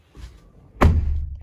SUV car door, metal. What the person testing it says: even shutting the doors, it sounds solid. I mean, they're heavy too, but it's a solid sound.